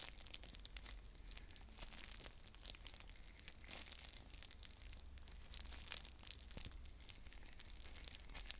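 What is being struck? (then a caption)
Plastic shrink-wrap film on a plastic container. Long nails crinkle and peel the plastic shrink wrap off a clear plastic stacking bead container, and the film starts coming off. A dense stream of quiet, bright crinkles and sharp crackling ticks runs throughout, over a steady low hum.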